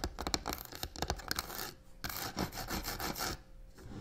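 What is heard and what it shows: Long nails quickly tap and rub the side of a hollow black croc-textured faux leather box resting on a table. Fast, dry scratching and rasping mixes with sharp little taps, spread from low thumps up to bright hiss, with two short quieter pauses.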